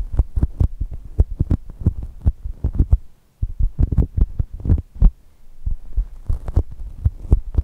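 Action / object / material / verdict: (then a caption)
tap / soft polyurethane foam squishy toy / polyurethane foam / none. Long nails tap and scratch the coated surface of a soft brown polyurethane foam squishy shaped like a chocolate toast, lying on the microphones. The result is a fast, uneven run of dull, low, thumping taps with almost no ring, resembling a muffled heartbeat. Two brief pauses break the run near the middle.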